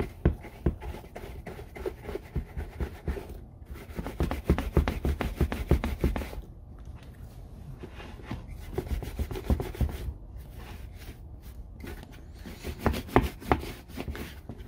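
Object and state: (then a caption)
Leather boot being brushed. A hand brushes a brown leather Red Wing Iron Ranger work boot with a horsehair brush while the other hand holds the empty, hollow boot open. Fast, dry rubbing strokes come in bursts with short pauses between them. The sound is low and muffled, with a soft scratchy texture.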